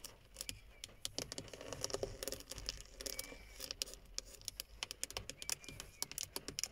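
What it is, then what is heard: Plastic steering wheel hub cover. Long fingernails tap rapidly and irregularly on a hollow black plastic steering wheel hub cover around a chrome emblem. Each tap is a sharp, bright click that dies away almost instantly, with a faint hollow, plasticky body and little low end beneath a quiet background hiss.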